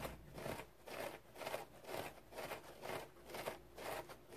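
A large, round, dry yellow synthetic foam sponge, shaped like a sea sponge with big open pores, lies on a towel and is scratched with fingernails. Steady back-and-forth strokes, about two per second, make soft, crackly, rasping swells with a hollow midrange tone and a bright scratchy hiss. The strokes stay quiet and fairly even, with no ring after each one.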